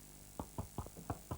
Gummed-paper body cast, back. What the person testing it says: I hope it's going to be hard round the back. Oh yes, it is.